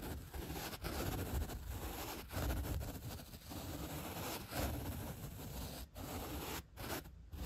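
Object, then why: Upholstery foam block. A bottle brush's bristles are rubbed back and forth across the surface of a solid white upholstery foam block. Continuous low, rough scratching and rustling strokes are heard, broken by brief pauses between passes.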